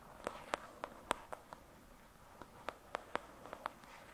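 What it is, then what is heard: Paperback book. Long, pointed dark red nails tap and scratch the glossy card cover of a thick paperback novel resting on a fluffy surface. Short, crisp clicks come at an uneven pace, in two loose bursts with a brief lull between them. Each click is bright and dry, centered near 1 kHz with no ring, over a faint, soft hiss.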